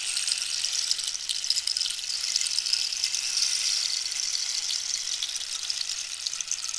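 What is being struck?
Hollow cactus wood rainstick filled with small pellets.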